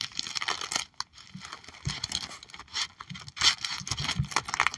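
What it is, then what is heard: Plastic card sleeve page. Long acrylic nails tap and scratch the clear plastic pockets of a trading card binder page holding holographic cards. Bright, crinkly plastic crackles and scratches mix with quick taps and occasional soft low thumps, with short pauses between bursts.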